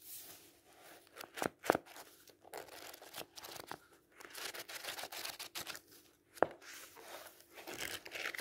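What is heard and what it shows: A block of paper pages in a thick paperback book is gripped and riffled with the fingers, then the pages are flipped. Soft, dry papery rustling and crinkling fill the clip, broken by a few sharp snapping flicks near the start and again about two-thirds through. The sound is quiet and thin, sitting in the mid and high range with almost no low end.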